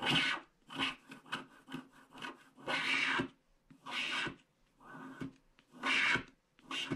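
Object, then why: Black-coated paper scratch-art card scraped with a wooden stylus. A wooden stylus scratches along the border strip of a flat paper scratch-art card with a black coating, and flakes of the coating pile up. Dry, raspy, bright scratching strokes come in irregular bursts, some long and some short, with brief quiet gaps between them.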